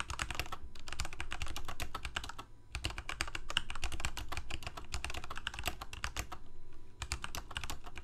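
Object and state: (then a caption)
Plastic mechanical keyboard. Fingertips of both hands type rapid, uneven bursts of key taps on a full-size Corsair K68 backlit plastic mechanical keyboard with Cherry MX Red switches. The sharp, bright clicks come with brief pauses between runs, over a steady low rumble.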